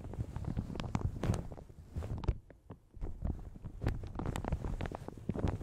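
Long red nails scratch and tap a light blue plastic shower cap stretched over a large hollow microphone. The result is dense, muffled, low crinkling and soft thumping taps in quick bursts, with a brief quieter lull near the middle before the scratching picks up again.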